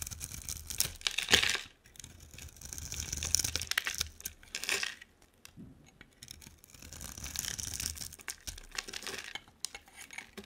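A hand-sized solid purple bar of soap with a dark coating is scraped and carved into thin slices with a utility knife blade. Bright, crackly scraping strokes come in bursts separated by short pauses, with crisp high clicks and a faint low rumble underneath.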